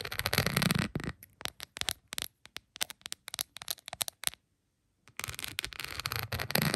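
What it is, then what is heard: Rhinestone plastic phone case. A plastic phone case covered in small glass-like rhinestones lies flat and is tapped with long pointed acrylic nails. A dense, bright scratching clatter gives way to a run of quick, separate clicking taps, then a short silence before the busy scratching resumes. The sound is crisp and dry, with almost no ring after each tap.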